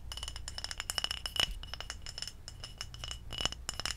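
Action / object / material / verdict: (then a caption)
tap / small glass bottle of liquid / glass / none. A small glass kombucha bottle with a white plastic cap, full of red liquid, is held in the hand and tapped with long acrylic nails. Quick, bright glassy clinks and light rattling taps sound in an irregular run over a low steady hum, each click dying away almost at once.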